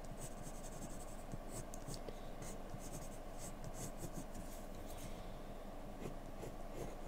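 A yellow-capped wooden graphite pencil makes small strokes across a flat white paper drawing sheet while shading hair. The result is a quiet, steady stream of soft scratching and rubbing, with brief bright, papery flicks over a low, even hush.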